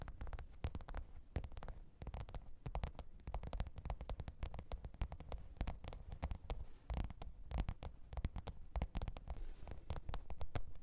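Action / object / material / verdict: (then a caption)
tap / faux leather hard-shell zippered case / faux leather / none. Long pointed nails tap and scratch the top of a black, textured faux-leather hard-shell microphone case with a zipper, lying flat on fur. Rapid, irregular taps produce dull, muffled thuds that are mostly low and boomy, with almost no bright content. Each tap dies away almost instantly, with a faint soft scratching between them.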